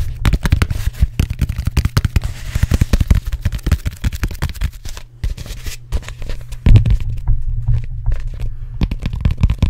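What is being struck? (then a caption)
Hollow closed-cell foam roller. Fingertips and nails rapidly tap and scratch the bumpy, textured closed-cell foam surface of a large, hollow, black cylindrical foam roller held in both hands in front of the microphone. The result is a dense stream of fast, dull, low thuds with very short decay, mixed with faint scratchy rustling. There is a brief lull around the middle before the tapping returns louder.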